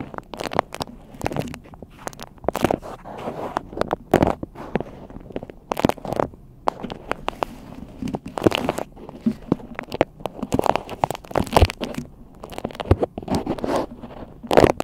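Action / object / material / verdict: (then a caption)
scrape / cloth cover stretched over a microphone head / fabric / none. Long pink acrylic nails and fingertips scratch and rub a green-and-white hexagon-print cloth cover stretched over a large microphone head, hollow over the capsule. The result is a dense run of close, crackly scratches and soft rubbing thumps, mostly low and midrange with occasional brighter flicks. Each stroke is dry and dies almost instantly.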